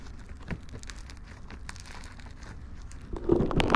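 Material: Slime, polystyrene.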